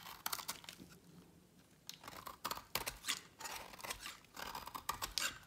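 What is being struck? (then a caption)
Bar of soap shaved with a knife blade. A utility knife blade shaves along the edge of a solid, partly carved green bar of dry soap. Each scraping cut makes a dry, crisp crunch with bright, hissy highs and almost no low end. The bursts come in uneven clusters separated by quiet pauses.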